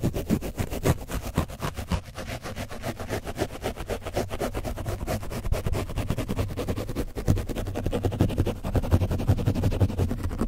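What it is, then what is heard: Paint-coated foam mic windscreen being scratched. A foam brush is scratched quickly over an orange foam microphone windscreen coated with dried paint. It makes a steady stream of rapid, rough scraping strokes with a heavy, boomy low rumble around 100 Hz and little high content.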